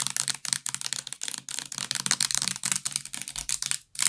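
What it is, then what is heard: Plastic bath liquid bottle. Fingernails tap quickly on the sides and white plastic cap of a full purple plastic bath liquid bottle. The result is a rapid, uneven run of bright, dry clicks with almost no low end, and a brief pause just before the end.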